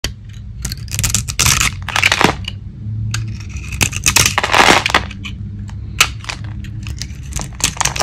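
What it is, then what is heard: Dry soap bar, crunchy when cut. A metal blade shaves and carves the painted crust off a small, solid oval bar of dry soap held in one hand; the surface is painted purple with glitter, and the cream-coloured soap shows underneath. Repeated bright, crunchy scraping and crumbling bursts come in quick strokes over a steady low hum, with short sharp cracks as pieces break away.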